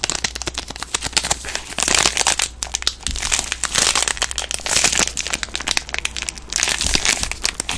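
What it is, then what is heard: Plastic-wrapped soap bar. A green soap bar in a plastic film wrapper is crinkled and squeezed by hands with long nails. Dense, bright crinkling and crackling rise into louder bursts of rustle, over a faint steady low hum.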